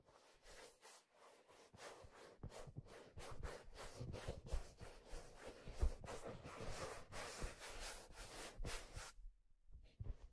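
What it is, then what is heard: Leather fedora hat. Fingertips rub and grip the brim and crown of a hollow, empty, head-sized black leather fedora held in one hand. The result is a quiet series of soft, papery scratching and rubbing bursts with dull low thumps underneath, falling nearly silent near the end before a few faint touches.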